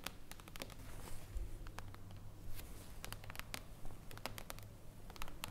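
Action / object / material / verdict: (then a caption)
tap / glass tabletop panel / glass / none. Long blue acrylic nails tap rapidly on a thin, solid, flat and reflective glass tabletop panel resting on a wooden table. Quiet, sharp, bright clicks come in an irregular patter, each dying away almost instantly, over a steady low hum.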